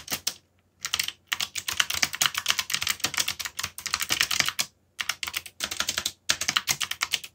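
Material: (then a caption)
Plastic. Fingertips type steadily on a backlit mechanical computer keyboard with plastic keycaps. Quick bursts of sharp, bright key clicks are broken up by brief pauses, and each click dies away almost instantly.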